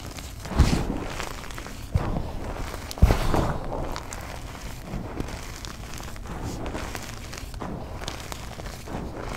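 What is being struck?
Loose chalk powder and crumbs crushed by hand.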